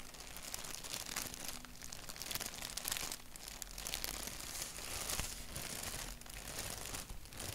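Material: Paper.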